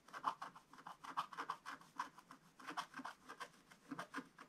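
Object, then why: Scratch-art paper with wooden stylus. A wooden stylus held in the fingers rubs and scratches the coating off a black-coated scratch-art paper page. The result is a quiet, rapid series of about two dozen short, dry scratches, each with a papery rasp centered near 1 kHz and a faint bright hiss, dying away almost instantly.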